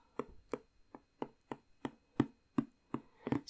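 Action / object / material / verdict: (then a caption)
tap / cardboard jigsaw puzzle box / cardboard / none. Long nails tap the printed lid of a hollow, rectangular cardboard jigsaw puzzle box filled with pieces. Eleven short, dry taps land at an uneven, unhurried pace, with a dull low-mid body and almost no ring. The last two come close together.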